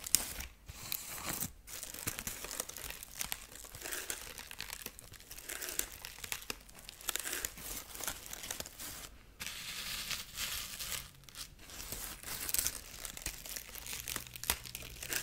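Long nails scratch and crinkle the dry corn husk side of a dried corn husk rabbit figurine. The result is a steady stream of bright, dry crackling and rustling with tiny crunchy snaps, broken by a few brief pauses. The sound is quiet and close, with little low end.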